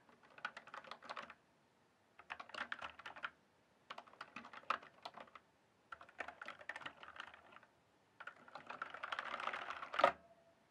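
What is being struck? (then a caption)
Mechanical keyboard with plastic keycaps. Fingertips type rapidly across a full-size backlit mechanical keyboard with plastic keycaps, producing bright, crisp clicky key presses. The typing comes in five short bursts separated by brief pauses. The last burst is denser and ends in a sharper, louder clack.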